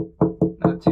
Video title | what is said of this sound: Getting our Sailboat ready to SAIL South [E270] | that's really not sounding good